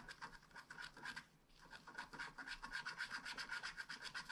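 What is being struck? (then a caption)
Wax-coated scratch art card with wooden stylus. A wooden stylus scratches densely in small strokes across a flat black scratch art card of wax-coated paper. It makes a quick, fairly steady series of dry, bright scraping strokes, about four per second, with a brief pause near the middle. The strokes carry a raspy tone around 1.5 kHz and almost no low end.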